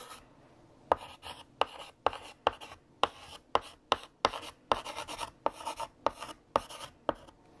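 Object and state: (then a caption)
Chalk writing on a chalkboard. A stick of blue chalk, held in the fingertips, writes text on a large, flat, solid black chalkboard with a painted surface. About nineteen sharp, clicky taps mark where the chalk meets the board, and each is followed by a short, dry, scratchy stroke with a bright rasp. Brief quiet gaps separate the strokes.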